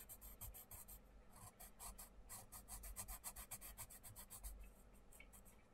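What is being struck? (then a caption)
Wooden colouring pencil on thin paper book page. A wooden colouring pencil is scratched rapidly back and forth on a thin paper page of an open paperback colouring book, resting on a wooden table, to fill in a small area while the other hand holds the book open. Each stroke gives a quiet, dry, raspy scratch with bright hiss, over a low, soft rumble.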